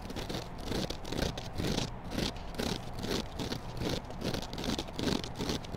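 Long black acrylic nails scratch and squeeze a dry, solid, hand-sized rectangular kitchen sponge of yellow polyurethane foam with a green abrasive scouring layer, held in one hand. The result is a steady, dense rustling and scratching with loosely rhythmic strokes, roughly two to three per second, and a soft bright hiss over a fuller low body.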